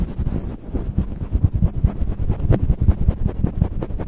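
Fingertips of both hands pinch and scratch a fluffy grey faux-fur windscreen on a stand microphone. The result is a dense stream of quick, muffled, low rumbling scrapes and thumps, with almost no high or bright content.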